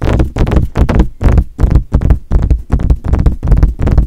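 Fingertips tap on the hollow metal body and mesh grille of a silver metal desktop USB condenser microphone. Rapid, irregular taps come in bunched bursts, heard as deep, dull, boomy thumps with almost no high end and very little ring.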